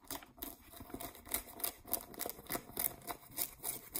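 Long nails and fingertips scratch the waistband and pockets of blue cotton denim jeans lying flat. The result is a quiet, steady series of dry, bright, rasping strokes, each one short with no ring.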